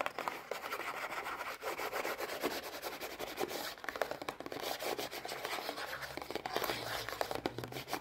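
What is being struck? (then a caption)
Small printed cardboard box. Long painted nails and fingertips rub and scratch a small printed cardboard Kinder Joy box, hollow and still holding its eggs, held up close. A dense, steady stream of dry, papery scratches and rubs continues throughout, with bright, crisp texture and no low rumble.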